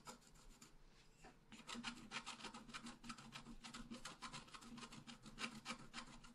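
A wooden stylus scratches tree crown details into a thin scratch art paper sheet lying flat. After about a second and a half of faint rubbing, quick, uneven, dry scratching strokes with bright, raspy edges follow in a steady run until the end.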